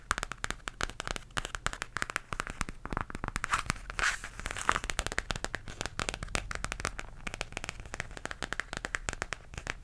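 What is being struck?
Textured faux leather zipper pouch.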